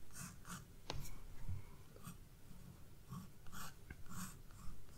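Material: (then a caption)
Paper. A graphite pencil, held by a hand with long red nails, scratches and draws strokes across the white page of a spiral-bound paper sketchbook lying flat on a wooden desk. Short, quiet, scratchy strokes repeat with bright hiss above a low, dull rub.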